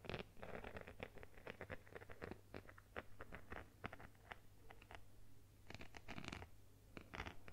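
Long nails rapidly scratch and tap a phone in a plastic case covered with multicolored beads. Dense, quick clicks and scratchy patter run throughout, with bursts of brighter, harsher scratching near the end over a steady low hum.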